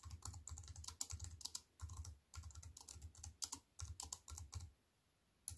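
Fast fingertip typing with long nails on a compact wireless keyboard with black plastic keys in a thin silver aluminium frame, resting on a wooden table. Quick bursts of bright, sharp key clicks over a soft low thump, pausing briefly between runs and falling silent near the end before one last tap.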